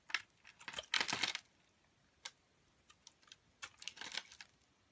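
A metal box-cutter blade scrapes and shaves flakes off the surface of a solid pink commercial Palmolive soap bar held in a hand with long nails. Irregular bursts of crisp, bright scraping and crackling come in clusters near the start and end, with a few short, isolated scrapes in the quieter stretch between.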